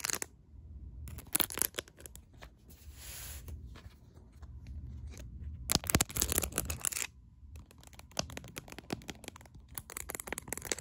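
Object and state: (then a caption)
Rhinestone-studded plastic phone case. Long acrylic nails tap and scratch quickly across a smartphone's hard plastic case covered in large faceted rhinestones, held in one hand. The result is a dense run of sharp, bright clicks and gritty, crinkly scraping rasps, with brief pauses between fast bursts.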